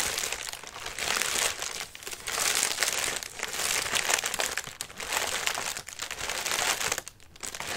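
A lime-green tissue paper lantern, folded flat and hollow, is held in both hands while fingertips and nails scratch and press its thin paper surface. Dense, bright crinkling and crackling runs almost continuously, swelling and dipping in uneven waves with very little low end.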